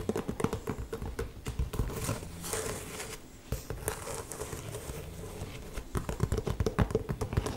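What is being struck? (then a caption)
Leather ankle boot. Long painted nails tap and scratch the upper of an old, hollow, empty brown leather ankle boot held up in one hand. Quick, dull, low-pitched taps with very short decay alternate with softer crinkly scratching through the middle. The tapping grows denser and louder again toward the end.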